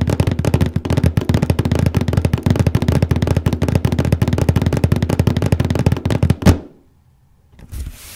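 Fingertips and nails scratch and tap rapidly in one spot on the lid of a large printed cardboard paper case box, making a dense, hollow, low drumming patter with dry scratchy texture. The tapping runs continuously for about six and a half seconds, ends with a final louder knock, and gives way to near silence before a faint, soft rustle rises at the end.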